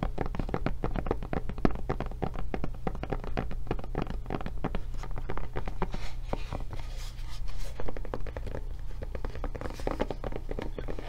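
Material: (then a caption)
Silicone rubber. A blue silicone rubber tablet case is held in the hands while long nails scratch and tap its back and handle. Quick, dry, muffled taps come in a dense, steady stream, easing briefly into softer scratching before the tapping picks up again over a constant low hum.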